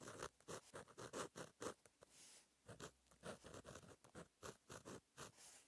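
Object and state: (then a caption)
Pen writing on a paper page. A fine metal gel pen tip scratches across a flat black lined notebook page while writing handwritten text. Short, bright scratching strokes come in quick, irregular bursts, with brief pauses between groups of strokes.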